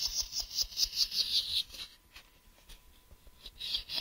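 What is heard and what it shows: Fingernails tap and scratch the flat surface near the ridged edge of a hollow, grey translucent plastic case held in one hand. A quick run of bright, dry clicking scratches fills the first second and a half, then drops to faint, sparse ticks before a brief scratchy burst returns near the end.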